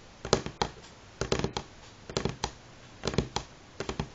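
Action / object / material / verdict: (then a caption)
tap / pine wooden tabletop / wood / none. Fingernail tips of both hands tap in rhythm on a solid light pine tabletop. Short, dry clicks arrive in five quick bursts of about three to four taps each, with brief quiet pauses between them. Each tap dies away almost at once, leaving a crisp wooden tick.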